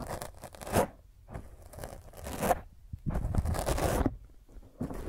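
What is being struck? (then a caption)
Foam microphone windscreen. Long nails scratch a black foam microphone windscreen, first with one hand and then with both. The result is rough, crackling bursts of scratching with a tearing, rustling texture over a heavy low rumble, separated by brief pauses.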